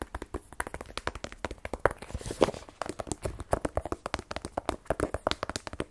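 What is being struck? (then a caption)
Rigid cardboard smartphone box. Fast fingernail taps on a small, black, rigid cardboard iPhone 12 Pro box, hollow with the phone inside and held in one hand. About forty short, dry, hollow clicks come in quick, uneven bursts, with a midrange knock around 500 Hz that dies away almost instantly.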